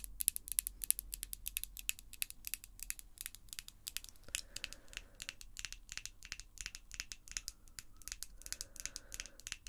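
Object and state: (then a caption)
Acrylic false nails tapping. Long pink acrylic false nails tap and scratch against each other close up, producing a rapid, irregular stream of sharp, bright clicks with a faint scratchy texture between them. A soft, steady low hum sits beneath the clicking throughout.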